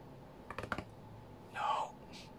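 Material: Glass.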